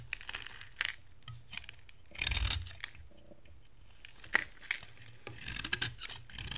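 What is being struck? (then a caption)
Bar soap. A metal cutter blade shaves curls off the surface of a dry brown bar of soap with a green shell, held in the hand. Short crisp scraping bursts and sharp ticks with bright high hiss come between quiet pauses, and a longer, fuller scrape stands out in the middle.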